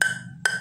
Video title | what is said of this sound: review yinhe M101 (mars 101) | kalau dari suara kayu tanpa karet ini udah kayu keras ini